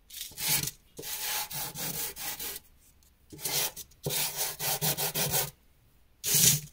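A small, solid, dark grey drawing carbon chunk, held in the fingertips, is rubbed in strokes across a cloth or canvas sheet, leaving black lines and loose powder beside other carbon pieces. Bright, dry, scratchy rubbing comes in bursts of quick back-and-forth strokes, separated by short silences.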